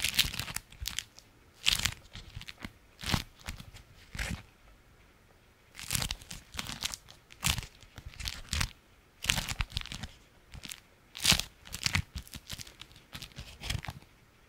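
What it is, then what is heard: Beeswax-coated fabric food wrap. A flat sheet of orange-striped, beeswax-coated fabric food wrap, held up in one hand, is scratched and crinkled with the fingernails of the other hand. Irregular bursts of dry, bright crunching and crinkling follow one another, with short quiet gaps between them. Each sound stops almost at once with no ring.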